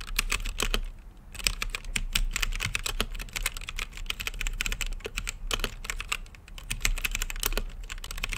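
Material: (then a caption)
Plastic. Fingertips type on an RGB mechanical keyboard with plastic keycaps set in a clear acrylic case. The result is a rapid, continuous stream of short, bright clacks centered around 2.5 kHz, with brief lulls near the 1-second and 5.5-second marks. A steady low hum runs underneath throughout.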